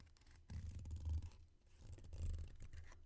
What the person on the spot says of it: They're a little more subtle when they're full.